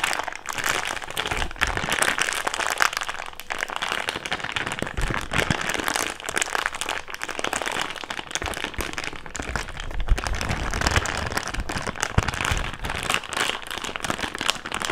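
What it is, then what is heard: Thick plastic bag being crumpled. An empty thick clear plastic bag is crumpled and rubbed with fingertips, giving a dense, continuous crackling crinkle across the full 15 seconds. The crisp, bright rustle carries some low rumble beneath it and pulses in uneven bursts without ever stopping.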